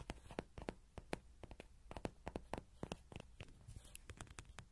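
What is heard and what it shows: A small yellow soft-vinyl Rody horse toy, likely hollow, stands upright with a pin mic clipped to its ears while fingertips and nails rapidly tap its sides and face. The result is a quick, irregular run of close, dull taps with short bright clicks and almost no ring. The background is quiet.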